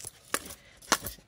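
A spoon is scraped across oobleck made of cornflour and water, thickened with extra cornflour to make it firmer. It gives sharp, bright scrapes with quick clicks like a solid surface, though the spoon sinks when rested on it.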